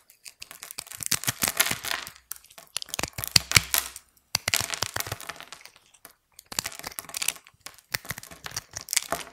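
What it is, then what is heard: Dry soap bar being scraped. A small knife with an orange handle scores and scrapes a grid into a hand-sized, solid bar of dry white soap coated in blue and gold glitter, held in the fingers, as small soap cubes crumble off onto a white surface. The result is dry, crisp, bright crackling and scratching in four bursts of rapid ticks separated by brief silences, with very little low end.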